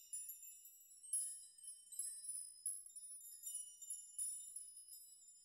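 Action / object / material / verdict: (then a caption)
shake / hanging metal nails / steel / none. Fingers brush through a chime of hanging metal nails, making the nails clink together. The result is quiet, bright, high-pitched tinkling in irregular bursts, with each clink ringing only briefly and almost no low end.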